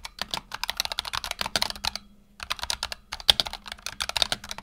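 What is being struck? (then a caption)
Mechanical keyboard with PBT plastic keycaps. Fingertips of both hands type rapidly on a black tenkeyless Razer Huntsman Tournament Edition mechanical keyboard with PBT plastic keycaps and optical switches, resting on a desk mat. The result is a dense run of short, bright, crisp key clacks with almost no ring. The typing pauses briefly near the middle before resuming.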